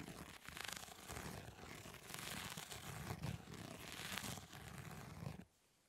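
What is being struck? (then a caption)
Plastic grid-mesh fly swatter. Long nails scratch across the plastic grid mesh of a fly swatter, making a continuous, bright, raspy scratching with a low rumbling undertone. It swells and dips in intensity for about five seconds, then stops abruptly into near silence.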